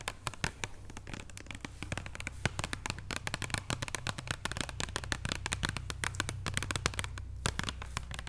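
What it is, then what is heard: Boxed chocolate bar. A flat, solid extra bitter chocolate bar in its paper and cardboard wrapper, lying on a wooden table, is tapped and scratched with long painted nails. The result is a rapid, dense stream of short, dry clicks and scratchy taps with bright, crisp edges over a steady low hum.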